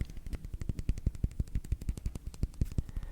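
Fingernails tap rapidly on a signed rubber hockey puck, a Christmas gift signed by a Brewers player wearing number 72. About 35 quick, dull, low thuds are heard, each dying away almost instantly with no ring.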